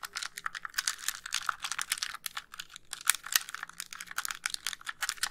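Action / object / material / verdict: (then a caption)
tap / plastic handheld game console / plastic / none. Long nails tap rapidly on the shell and buttons of a white hollow plastic handheld game console as it is moved near the microphone. The result is a quick, dense run of crisp, bright clicks and ticks with almost no low end and very short ring.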